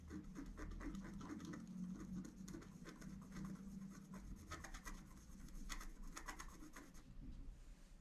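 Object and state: Scratch-art card being scratched.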